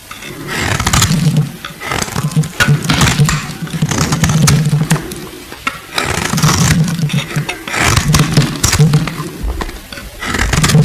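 A solid, translucent purple glycerin soap bar, held in the hand, is cut and scraped with a metal blade. Dense runs of soft, crisp scraping strokes come in waves, with a low, muffled body under bright, crackly edges and short pauses between passes.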